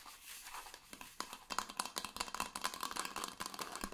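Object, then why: Insulated stainless steel water bottle with painted surface. Fingertips and nails tap and scratch the painted surface of a red insulated stainless steel Coldest water bottle with a white band, held in both hands. It starts with soft, hissy scratching, then becomes a rapid, irregular series of quiet, crisp taps with a faint metallic ring around 1 kHz that dies away almost instantly.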